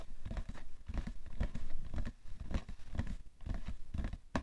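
A rectangular printed cardboard box of Shisara facial tissues (90 count), hollow and likely full of tissues, rests on a fur rug while fingertips and medium manicured nails tap and scratch it. Soft, dull thumps with almost no ring mix with scratchy, crinkling rustles in a steady, uneven rhythm, and most of the energy sits in a low, muffled range.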